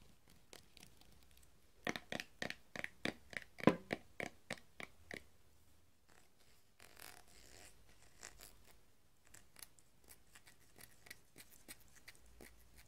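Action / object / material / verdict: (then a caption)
tap / glass jar with plastic screw lid / glass, plastic / none. A large, full glass Nutella jar of hazelnut spread with a white plastic screw lid is held in both hands while fingertips and short nails tap and scratch the lid and jar. A run of crisp, evenly spaced clicky taps from about 2 to 5 seconds is followed by softer, quieter scratching and scattered light taps. Each tap is dry and short, with little ring.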